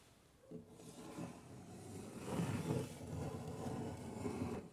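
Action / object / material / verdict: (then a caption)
scrape / wooden panel / wood / none. Fingertips and nails of an open hand scratch and rub across a large, flat, solid wood-grain panel, such as the side of a cabinet or door. After a near-silent opening, a steady, low, raspy scraping begins and grows louder toward the middle, then keeps up in uneven strokes until it drops off at the end.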